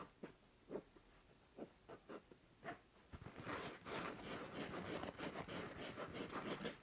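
Long nails scratch the soft-filled purple fabric face of an INTEY-print acupressure pillow, then its spiked edge. Soft, separate scratchy strokes give way after about three seconds to dense, continuous, brighter rasping that fills out into high frequencies.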